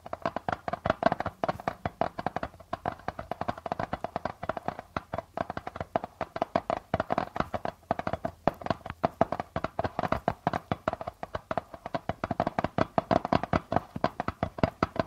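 Fingertips and nails of both hands tap and scratch the plastic membrane of a hollow darbuka drum. The result is a steady stream of quick, dry taps with a hollow tone around 645 Hz, each dying away almost instantly, mixed with faint scratching over a quiet background.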